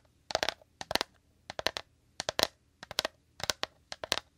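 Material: Rattan.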